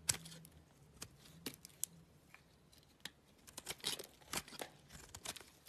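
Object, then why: Soap bar scraped with a blade. A utility knife blade scrapes and shaves the surface of a small, solid, oval cream soap bar held in the hand. The result is a series of quiet, bright, crisp scraping and clicking strokes, some sharp and some drawn out, with brief gaps between them.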